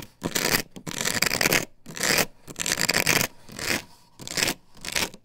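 Long fingernails scrape and scratch across an upright plastic stencil template glued to a wooden board. The result is a series of bright, dry, raspy bursts that swell and fade with short pauses between them, with little low end.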